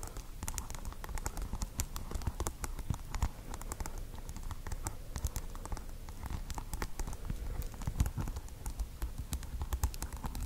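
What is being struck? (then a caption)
Plastic pearl beads glued on a microphone. Long acrylic nails rapidly tap and scratch the hard plastic pearl beads glued over green tape on a small microphone that also carries a white wool tuft. The result is a steady, dense patter of short, dry clicks, deep close-up thumps under crisp bright ticks, with no ringing between hits.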